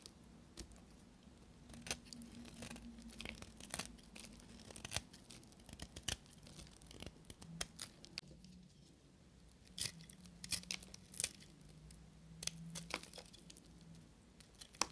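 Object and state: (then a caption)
Dry soap being shaved. A small solid piece of dry blue and white soap, held between the fingers, is scraped and shaved with a carving knife. Dry, crisp scraping and shaving sounds repeat with sharp, bright clicks and crackles over a faint low hum, in a quiet, close setting.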